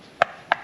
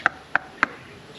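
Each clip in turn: First: Two quick knuckle taps on top of a coconut, short mid-pitched knocks that die at once, a hollow sound. Second: Three quick, dry knocks with a mid-high tone and almost no ring, a coconut tapped on its top.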